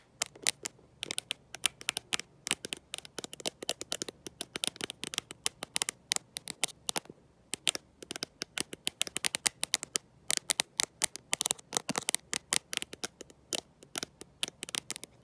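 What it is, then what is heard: Glass-backed smartphone. Long nails tipped with gold paper clips rapidly tap and scratch across the glass back of a handheld black glass-back smartphone. The result is a dense stream of sharp, dry clicks and scraping ticks with no ring. The sound is bright and thin, with almost no low end.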